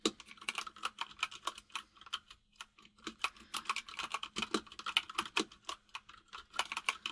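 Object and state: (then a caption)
Plastic mechanical keyboard. Fingertips of both hands type quickly on a full-size mechanical keyboard with white and grey plastic keycaps. About thirty-five short, bright, clicky keystrokes come in uneven bursts, each dying away almost instantly, over a faint steady low hum.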